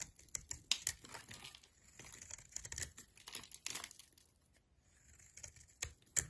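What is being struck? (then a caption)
Bar of soap cut with a metal knife. A solid oval bar of soap with a brown outer layer and lilac core, held in a hand with long nails, is cut and scraped with a metal knife blade as shavings fall away. The sound is a run of quiet, bright, dry crinkling crunches and scrapes with sharp crackly snaps, a brief lull just before the five-second mark, then a few more crisp cuts.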